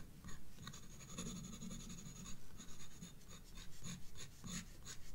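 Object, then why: Graphite pencil on a paper sketchbook page. A graphite pencil is rubbed back and forth across a page of a spiral paper sketchbook, shading the stem and bulb of a drawing. The result is a steady, soft scratching with a low, muffled body and faint bright hiss in quick repeated strokes.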